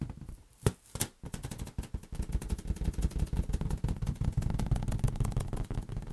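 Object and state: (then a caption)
Inflated latex balloon. A large, hollow, inflated green latex balloon is cradled in the hands and tapped with the fingertips. A couple of sharp, isolated taps come first, then a fast, uneven stream of soft, low, drum-like thumps with very short decay that carries on to the end.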